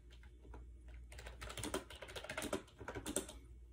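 Fingertips rapidly tap the round keys of a compact gray plastic AJAZZ 308i Bluetooth wireless keyboard with a hollow shell, resting on a bed. Soft, quick, uneven clicks start sparse, then cluster into denser bursts with bright, crisp edges over a low steady hum. Each tap dies away almost instantly.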